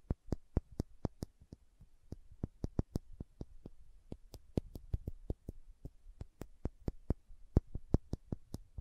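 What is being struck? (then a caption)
Small glass dropper bottle. Long nails tap the body of a small dark green glass serum dropper bottle held horizontally, making about 35 quick, dry ticks in an uneven rhythm. Each tap is a very short, crisp click with almost no ring, sitting over a faint low hum.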